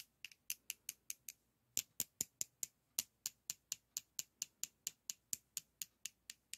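Two solid white school chalk sticks are held in the hands and rubbed and scraped against each other in a cross shape. The result is a quick, evenly paced run of about 27 short, dry, bright scrapes, with a brief pause after the first few. Each scrape dies away almost at once with no low end.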